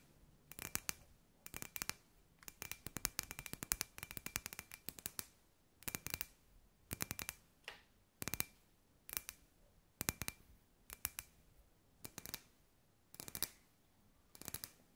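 Long grey nails tap on a hand-sized, hollow, clear glass sphere lamp with LED fairy lights inside. The taps come in quick bursts separated by short pauses; each is a sharp, bright click with a faint glassy ring near 2.4 kHz that dies away almost at once.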